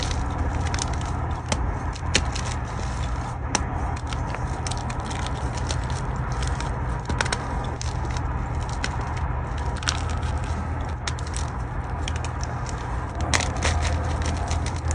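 Fingertips squeeze and crumble solid, palm-sized blocks of soft white gym chalk (magnesium carbonate) by hand in a dark bowl of chalk powder and fragments. A steady low rumble runs throughout, with many short, dry crunching snaps and crackles scattered across the clip as the blocks break apart.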